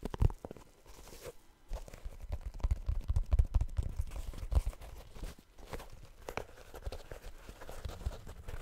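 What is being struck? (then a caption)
Rubber shoe toe cap. Fingertips tap the rounded rubber toe cap of a blue rubber shoe held over a microphone, making many soft, dull, low thuds with quick decay. The taps come in uneven bursts, some faster and denser, with faint crinkly rubbing between them.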